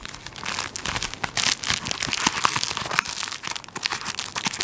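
A large tissue paper roll in a thin plastic wrapper is held in hand while fingertips and nails scratch and press the plastic film on its top end. This produces dense, continuous bright crinkling and crackling, mostly high-pitched with almost no low end.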